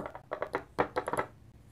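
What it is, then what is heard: Pen nib scratching on paper. A steel dip pen nib scratches dense hatching lines across a flat paper sketchbook page. Eight short, dry scratching strokes come in quick bursts, centered in the midrange with brief bright edges, then fade to a quiet hiss.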